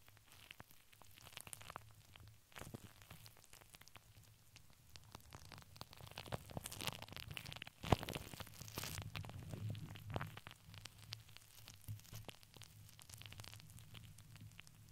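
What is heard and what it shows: Long nails scratch across a hollow steel mesh microphone dome, and then a flat hand rubs over it. Dense, crackling scrapes run throughout over a low steady hum, swelling into a brighter, louder rasp near the middle before settling back to softer scratching.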